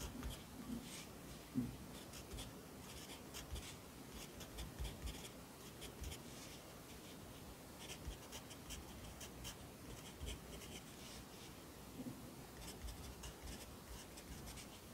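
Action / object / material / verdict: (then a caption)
scrape / graphite pencil on a paper notebook page / paper / none. A yellow wooden pencil held in the right hand writes continuously across the right page of an open lined paper notebook lying flat on a desk. The graphite makes a quiet, steady scratching on the paper, with bright, high bursts of texture as the strokes come and go over a soft low rumble.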